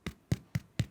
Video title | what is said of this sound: Crusty White Bread - Everyday Gourmet S10 Ep50 | But also, if you turn it around, give it a tap, and if it sounds hollow, you know that your bread is completely cooked through.